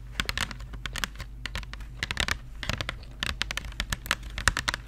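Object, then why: Small cardboard box of markers. A small Crayola cardboard marker box, hollow with markers inside, has its printed surface tapped and scratched with long nails. Many quick, dry, bright taps and scratchy clicks come in uneven bursts, with no ring after each one, over a steady low hum.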